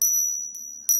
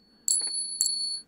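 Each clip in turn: First: Two bright metallic pings from coins struck together, a high tone; these are counterfeit silver coins. Second: Two silver coins clinked together give a bright, high ring that hangs clearly, as genuine silver does.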